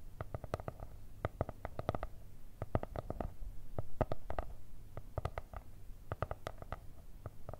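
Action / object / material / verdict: tap / spiral notebook with cardboard cover / cardboard / none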